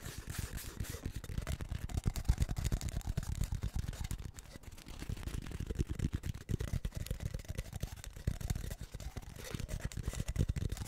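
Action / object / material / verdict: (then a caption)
tap / cardboard tube / cardboard / none. Fingertips and nails rapidly tap and scratch a short, hollow, empty cardboard tube held in both hands. The result is a dense, continuous patter of soft, low, hollow thumps with quick dry decay and a faint scratchy rustle above.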